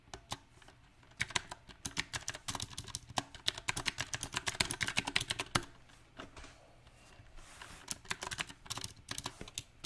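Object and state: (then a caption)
Mechanical keyboard with plastic keycaps. Fingertips of both hands type on a small 68-key backlit mechanical keyboard with round typewriter-style plastic keycaps on a silver metal plate. Sharp, bright clicks with almost no ring come in uneven bursts, with a quieter lull near the middle before the typing resumes.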